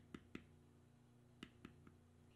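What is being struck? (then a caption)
Metal stamping tool on leather over stone. A small metal stamping tool, held in the fingers, is struck to bevel a thick tan vegetable-tanned leather strip with knotwork on a stone surface. Five short, sharp taps land in two groups over a quiet, steady low hum, each dying away almost instantly.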